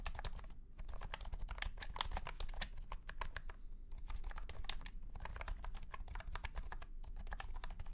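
Fingertips of both hands type on a $90 white and pink cat-shaped keyboard with round plastic keycaps set in a curved, hollow plastic case under purple light. A rapid stream of short, dry, clicky key taps comes through, bright and clacky, with brief pauses and a steady low rumble underneath.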